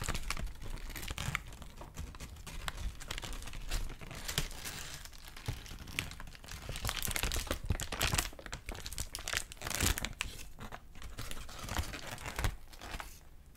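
A thin white crinkled paper sheet is held up and crinkled and rubbed with fingertips. Dense, bright crackling and crinkling bursts come in quick, uneven waves, growing louder around the middle and late portion before easing off at the end.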